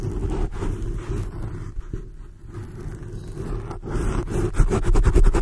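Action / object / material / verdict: scrape / foam microphone windscreen / foam / none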